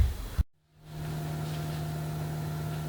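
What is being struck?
Nothing is struck.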